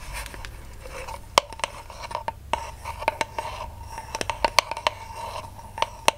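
Long nails scratch and tap the flat cardboard end disc of a ribbon spool held in the hands. A soft, continuous scratching runs underneath a string of sharp, dry taps that come irregularly. Each tap has a brief hollow tone around 1 kHz and dies away almost instantly.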